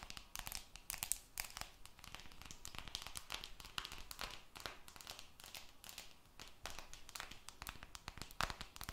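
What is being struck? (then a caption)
Glass and aluminium smartphone. Long red nails scratch and tap the surface of a glass and aluminum smartphone held beside the mic. The result is a dense, steady stream of quick, dry clicks and crinkly scratching with a bright, papery edge and almost no ring after each touch.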